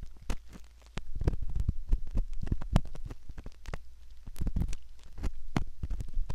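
A curved metal ear pick scrapes repeatedly inside the concha near the canal of a soft silicone ear, likely the ear of a binaural microphone. Close, muffled, low-heavy scratching and rustling with quick crackly clicks. It starts faint, then grows denser and louder after the first second.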